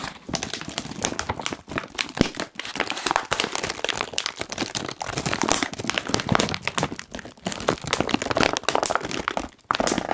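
A medium-size Kettle crisps bag of foil-lined plastic, puffed and apparently full, is squeezed and crinkled with the fingertips of both hands. It makes a dense, continuous run of sharp, bright crinkles and crackles that die away almost instantly, with brief lulls near 1.7, 2.5 and 9.6 seconds.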